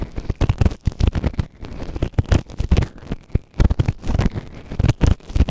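A white plastic ear tool held in fingertips scrapes inside the ear canal of a grey silicone ear-shaped microphone, soft and solid, on a round base. Close, deep scratching and rubbing comes in rapid bursts of low, boomy thumps and rustles with short gaps between them.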